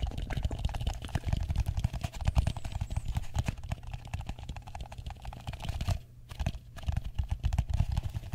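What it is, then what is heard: Plastic bowl tapped. Fingertips and nails tap rapidly on the dome and rim of a hollow, empty, medium matte blue plastic bowl held upside down above the microphone. The result is a dense, steady patter of short, dull, low-pitched knocks with almost no ring, broken by a brief quiet gap a little past the six-second mark.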